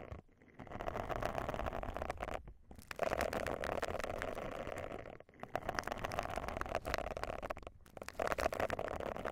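Long nails scratch and rub over the bristle surface of a round silicone face scrubber pad resting on the microphone. The result is a dense, close, crackling scrape with a steady mid-range tone. It is broken by a few brief pauses between bursts of rubbing.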